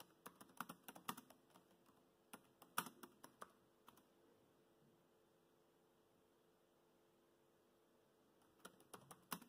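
Fingertips type on a laptop keyboard with black plastic keys, giving quiet, dry, irregular clicks. They come in bursts at the start and end, with a long silent pause in the middle.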